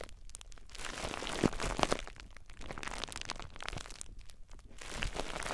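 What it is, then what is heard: Plastic bubble wrap. Fingers squeeze clear plastic bubble wrap wrapped around a recorder, then fingertips scratch across the wrap. Dense, bright crinkling and crackling fill the clip, with a couple of sharper snaps near the middle and a steady scratchy rustle toward the end.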